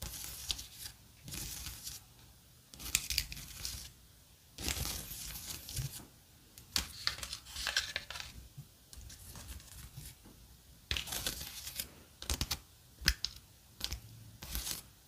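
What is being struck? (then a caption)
Plastic blister tray with gummy candies. Long blue-painted nails tap and scratch along the edges of a dark brown plastic blister tray and over the gummy sushi candies in its compartments, which appear not yet eaten. Bright, crinkly scratching and sharp plastic taps come in short irregular bursts separated by quiet pauses, over a faint low hum.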